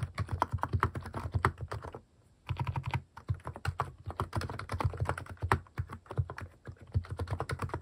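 A compact Hanmumu mechanical keyboard fitted with cat-shaped plastic keycaps is typed on quickly with the fingertips. It makes a dense run of short, clacky key taps with a deep thocky body, pausing briefly twice before the rapid typing resumes.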